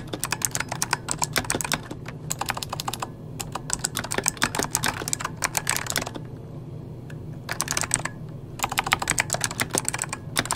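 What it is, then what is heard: Plastic mechanical keyboard. A full-size backlit mechanical computer keyboard with plastic keycaps is typed on rapidly with the fingertips of both hands. Bursts of sharp, bright clicking key taps come in quick runs with brief pauses between them, over a steady low hum. Each tap dies away almost instantly.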